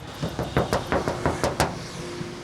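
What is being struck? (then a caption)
Steel car body panel. Knuckles knock repeatedly on the steel body panel of a Toyota car, producing a quick series of short, dull thuds. Each knock is low and muffled with a brief ring that fades almost immediately.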